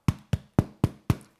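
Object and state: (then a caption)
Bread loaf baked through (hollow). A freshly baked bread loaf, after 30 minutes in the oven, is turned over and tapped five times on its bottom. Each tap is a short, low, hollow knock that dies away quickly. The hollow sound shows the loaf is perfectly cooked.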